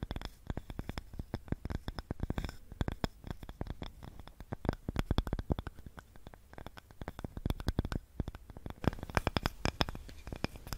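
A small, light, solid wooden cutting board with a handle is held in both hands in front of the mic and scratched and tapped with long nails. Rapid, dry, close taps and scratches come in a dense, uneven stream, with a soft, low, hollow body and almost no ring.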